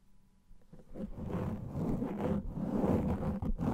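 A black foam microphone windscreen of soft, porous foam is scratched quickly with the fingernails of both hands. Quiet at first, the sound builds into a dense, rough scratching and rustling that is heavy in the low and mid range with little high content.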